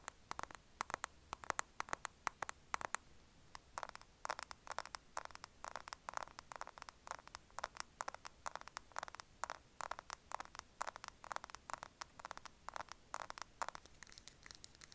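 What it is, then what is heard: Plastic compact case, hollow. A small, closed, mint-green glossy plastic cushion compact with a hollow case is held in both hands just above an earphone mic and tapped and scratched with fingertips and short nails. Many quick, dry clicks and taps, with a midrange body around 1.1 kHz and bright edges, come in irregular bursts over a faint hiss. Each tap dies almost instantly.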